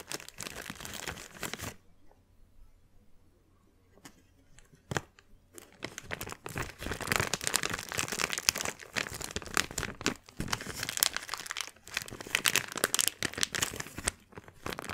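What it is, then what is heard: Thin plastic bag being crumpled. A small, thin, empty transparent plastic bag is held in both hands and crumpled and crinkled with the fingers. Bright, crackling crinkles come in bursts, with a near-silent pause early on broken by a few sharp snaps, then build into dense, continuous rustling and crunching that runs to the end.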